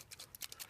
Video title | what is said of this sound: Birchwood Casey Super Black Touch Up Pen | shake it till you hear the marble